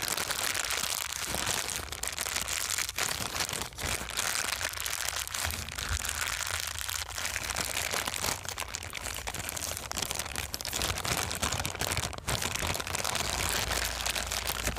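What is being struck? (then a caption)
Thin clear plastic bag. A thin, empty, transparent plastic bag is balled up and squeezed in both hands, producing continuous bright crinkling and crackling for about fifteen seconds. The level stays steady throughout, with dense, sharp crackles over a faint low hum.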